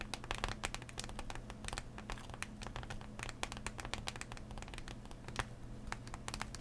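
Fingernails tap and scratch the hollow plastic shell of a blister pack on a cardboard backing lying flat, making rapid, dry crinkling clicks with bright, sharp edges. A steady low hum runs underneath the whole time.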